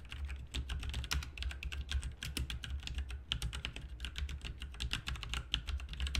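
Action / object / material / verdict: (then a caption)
tap / mechanical keyboard with plastic keycaps / plastic / none. Both hands type fast with their fingertips on a backlit plastic RGB mechanical keyboard with plastic keycaps resting on a desk mat. Quick, bright clacking keystrokes come in a dense, continuous stream, each one short with almost no ring. A steady low hum sits underneath throughout.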